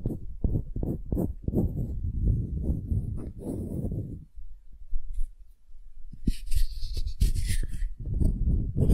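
Long glittery nails scratch the end-grain face of a solid, light, palm-sized wooden cube held in both hands, making a dense run of quick, rough scratching strokes with mostly low, thudding texture. The scratching pauses briefly near the middle, then resumes with faint bright hiss before continuing in quick strokes to the end.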